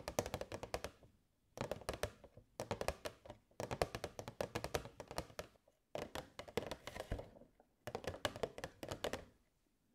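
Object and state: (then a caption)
Clear plastic box. Long nails tap rapidly on the sides of a hollow, transparent plastic box with fairy lights inside. Quick, dry clicks with a hollow midrange knock come in six bursts separated by brief pauses. Each tap dies away almost instantly, and a bright, crisp edge sits on top.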